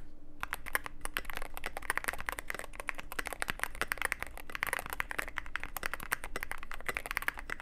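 Steady fingertip typing on a Cyberboard mechanical keyboard with plastic keycaps and a black aluminum case produces a dense, continuous run of short, sharp clacks. Each keystroke is a bright, dry click centered in the upper mids that dies away almost instantly, over a faint low hum.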